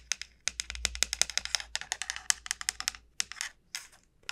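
Long nails tap along the shell of a large, hollow, dried gourd, making 29 quick, bright clicks in irregular bursts with short pauses between them. Each tap is dry and sharp and dies away almost at once, with next to no low end.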